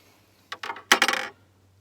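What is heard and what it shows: With the piston on cylinder 1 of a 2006 Mini Cooper S engine just past top dead center on its way down, the steel connecting rod is pressed on its crankshaft and shifts about 20 thousandths of an inch. Four short, bright metallic clunks are heard, the last two louder and more rattling. The play comes from a loose connecting rod bearing, meaning rod knock on cylinder 1.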